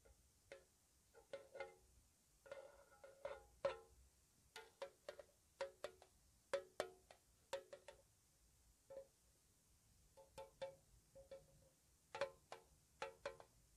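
A small, hollow, square, white-painted metal tea tin with its lid on is tapped with long nails. The result is a series of soft, quick, dry taps with a hollow tone around 600 Hz and a brief bright click on each hit. The taps come at an irregular pace with short pauses between clusters.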